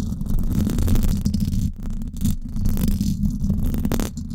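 Long acrylic nails scratch fast across the hollow, silver woven-wire dome grille of a Blue Yeti microphone. The result is a dense, continuous low rumbling scrape centered around 74 Hz, with a faint bright hiss above and brief dips in loudness partway through.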